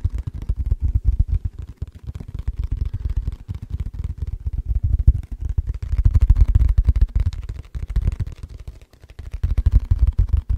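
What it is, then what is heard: Plastic food container. An empty, hollow, transparent rectangular plastic food container is tapped and scratched with fingertips and nails. Rapid, dense taps come through as dull, boomy low thuds with short scratchy clicks. The texture runs continuously, swelling louder in the middle and dipping briefly near the end.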